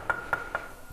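A spot on a rock inside a cave in Mo So mountain is struck three times, each tap giving a short, bright, bell-like metallic ring around 1.4 kHz. The rings die away quickly, leaving only quiet background between the taps.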